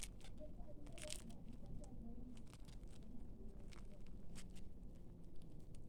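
A freshly baked layered cheese börek is sliced close up, giving a steady run of crisp crackling and crunching with sharp bright bursts over a low rumble. The crisp outside flakes off while the inner layers stay soft, and the cut slices show the layers.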